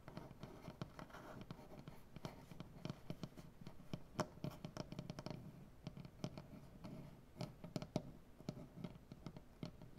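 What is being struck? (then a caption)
Wooden butcher-block table. Both hands scratch and tap a large, solid wooden butcher-block tabletop with dark painted fingernails. Quiet, dry, irregular taps land over a steady low scratching rustle, each tap dying away almost at once.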